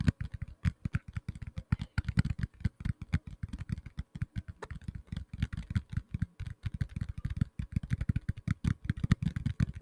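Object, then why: Tablet in a plastic case. A black tablet in a plastic case is tapped rapidly with fingertips and nails, producing a steady stream of short, dull, low-pitched knocks with faint clicky edges. Each tap dies away almost instantly, leaving an irregular, busy patter that sounds much like fast typing.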